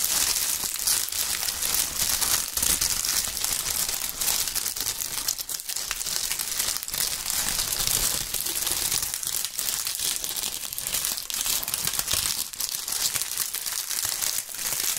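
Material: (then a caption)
Leaves. Gloved fingers crush and crinkle clusters of dry, reddish-brown maple leaves, one bunch held in each hand. A dense, steady stream of bright, crisp crackling and crunching continues for the whole clip with almost no low end. Brief snaps and rustles stand out from the constant crinkle.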